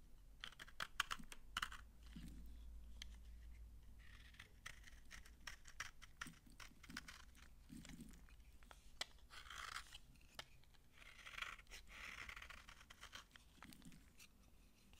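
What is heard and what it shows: Fingers with painted nails crumble and rub brittle shavings off the surface of an old, solid, dry green bar of soap that has already been carved. Quiet, dry crackling and scratchy crunches come in bursts, with many sharp, bright clicks over a faint low hum.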